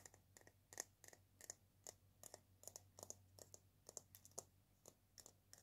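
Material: Dried gourd.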